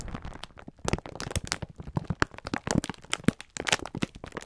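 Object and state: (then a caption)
Plastic-wrapped pack of sponge scourers. A full pack of green sponge scourers in clear plastic film is squeezed and rubbed with the fingertips of both hands. The wrap gives off dense, rapid crinkling and crackling with sharp, bright snaps and soft low thumps, each burst cutting off almost instantly.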